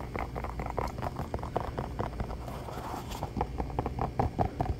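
Fingertips and nails tap and scratch fast on the sole and upper of an orange Croc-style clog, a hollow shoe of molded foam with holes. A quick, irregular run of dull, muffled taps with soft scratchy rustling, each tap dying away almost at once. The sound stays low and dampened with little brightness.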